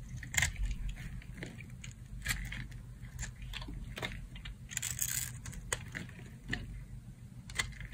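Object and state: Dry soap bar, crunchy when carved.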